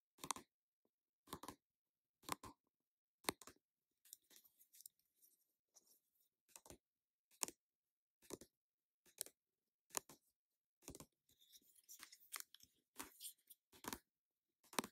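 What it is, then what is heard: Plastic squeeze tube. Long nails tap and scratch the flat surface of an orange plastic cream mask squeeze tube that appears full. Sharp, dry, bright clicks arrive at a steady pace, about once a second, with softer scratchy rustles between them.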